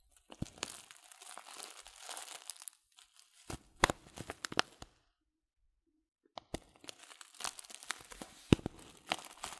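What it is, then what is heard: Paper tea bag packet being crinkled. Fingers crinkle a filled Teekanne paper tea packet of loose-leaf tea held upright, producing soft, dense crinkling and rustling with sharp, bright crackles. The sound pauses in near silence for about a second and a half, then resumes with more crackling crinkles.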